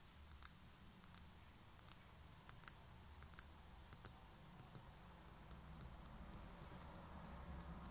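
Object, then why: Small concrete pen holder. Long nails tap and scratch the textured outer wall of a small, hollow, grey concrete pen holder held in one hand. About 17 sharp, bright, dry clicks come at an uneven pace over a quiet low hum. The scratching grows slightly louder toward the end.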